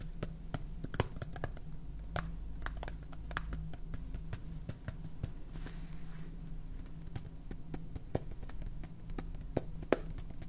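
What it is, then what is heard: Plastic salt jar tapped with fingernails. Long painted fingernails tap a clear plastic salt jar full of salt, with a red plastic cap and a blue label. Quick, dry clicking taps sound in an uneven stream throughout, over a low, steady hum.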